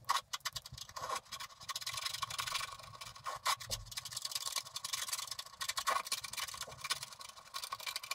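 A wooden stylus scrapes broad areas of black coating off the background of a flat scratch-art paper card lying on a table. Quick, dense, dry scratching strokes fill the clip with a bright rasp, and a faint thin squeal around 1.1 kHz recurs through it.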